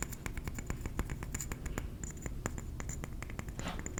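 A ceramic trinket plate is tapped rapidly with the fingernails, making a quick series of short, sharp clicks. Each tap is dry and fades almost at once over a steady low background rumble.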